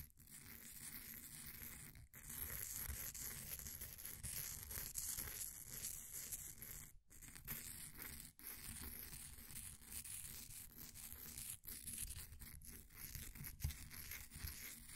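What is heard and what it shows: A flat wooden popsicle stick held in the fingers scrapes and scratches the crumbly surface of a solid, green, ball-sized bath bomb of compressed powder sitting in a blue plastic ring holder. A steady, dry, gritty scratching with a bright hiss runs throughout, broken by a few brief silent gaps.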